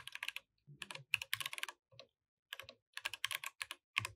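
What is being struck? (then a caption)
Mechanical keyboard with plastic keycaps. Fingertips type on a compact mechanical keyboard with plastic keycaps, producing about 25 bright, sharp clicks in quick bursts with brief pauses in between. The keystrokes are crisp and dry with almost no ring. The mouse is not touched.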